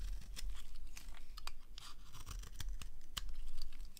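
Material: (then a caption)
Soap. A small blade shaves strips off the edge of a solid green rectangular dry bar of soap held in the hand. Dry, crisp scraping and shaving sounds come with quick bright clicks and crackles over a low steady hum.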